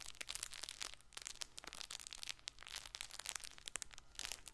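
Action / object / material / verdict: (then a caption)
scrape / stuffed fabric soft toy ball / fabric / none. A colorful, hand-sized stuffed fabric baby ball with felt patches, soft and filled, is held in one hand and scratched with fingertips and nails. It gives a dense run of bright, crinkly crackles and rustles from the fabric over a faint low hum.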